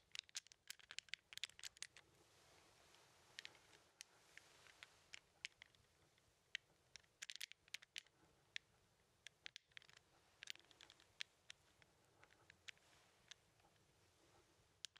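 An index fingertip taps and scratches the tiles of a small plastic 15 sliding puzzle with red and white numbered tiles, held in one hand. Dozens of quiet, dry, bright clicks and ticks sound in irregular bursts over a soft, faint scratching hiss.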